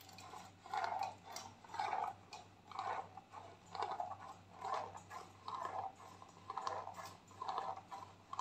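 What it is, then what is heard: Plastic cosmetic tube, scratched and rubbed. A white plastic clay mask tube is scratched with fingernails and rubbed with fingers, making quiet, rhythmic scratchy strokes about once a second. Each stroke is a dry, mid-pitched rasp with slight high edges over a faint low hum.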